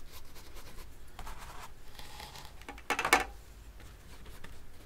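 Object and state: Brush strokes on oil-painted canvas.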